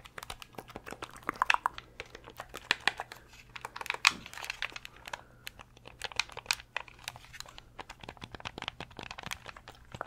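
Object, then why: Hard plastic game controller shell. A fingernail taps rapidly and irregularly on the hollow hard-plastic shell of a translucent purple Nintendo 64 controller. The taps are dry, bright clicks that die away almost instantly, with a few sharper, louder strikes among the softer ones and a faint crinkly scratching between them.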